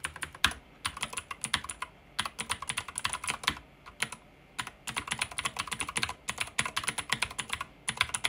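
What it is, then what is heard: Plastic mechanical keyboard. Fingertips type quickly on a pink backlit mechanical keyboard with plastic keycaps. Dozens of sharp, bright clacks fall in rapid bursts, broken by a few short pauses, with each keystroke dying away almost at once and little low end.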